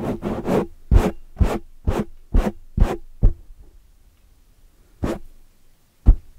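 Long metallic-polished nails scratch the sides of a black foam microphone windscreen, then grip it and scratch the front. A run of short, muffled, low-heavy scratching bursts comes in quick succession, then stops for a pause before two more isolated scrapes.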